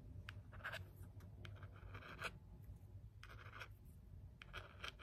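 The back of a small, hollow black plastic LED remote control, held in the hand, is scratched and tapped with a thin wooden stick. The result is quiet, dry scratching in short bursts with brief bright clicks, over a steady low rumble.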